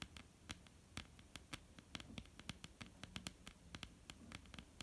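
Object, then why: Wooden tabletop. Long, almond-shaped painted nails tap and lightly scratch a flat, solid wooden tabletop. Quick, dry, bright clicks come in an irregular patter over a soft, continuous scratchy hiss, and each tap dies away almost instantly.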